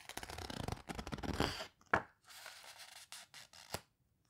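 Long-nailed fingers squeeze and rub across the surface of an open paper photo book, with some page turning. A dense run of crinkly, scratchy rubbing gives way to a sharp papery snap. Softer brushing follows, broken by a few quick, crisp flicks.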